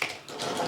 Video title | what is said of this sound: The Best Bang Bang Shrimp | Just listen to the sound. How crispy they are going across this.